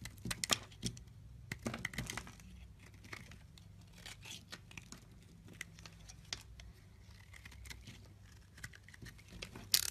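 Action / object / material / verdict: scrape / solid soap bar scraped with a blade / soap / none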